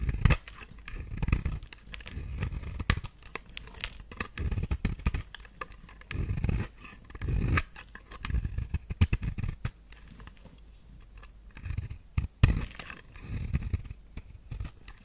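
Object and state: Dry soap bar scraped with a knife.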